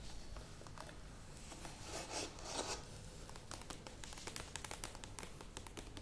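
A medium plastic yogurt tub stands upright while long nails tap and scratch its sides and lid. Soft scratchy rustling swells through the middle, then gives way to a run of quick, bright clicking taps over a low, steady hum.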